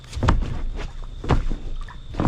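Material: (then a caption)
Rubber. An inflatable boat with water trapped inside is shaken, and the water sloshes around in a series of low, heavy surges. The water is inside the boat rather than outside it, which is not how the boat should be.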